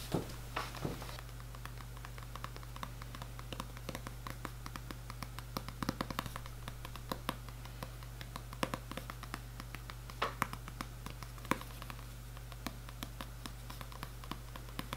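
Long red nails tap rapidly on the printed cardboard cover of the hardcover book "Le Semainier du Jardinier," held upright and solid. The taps are quick, dry and irregular, with a few sharper clicks. They are heard over a steady low hum in a quiet setting.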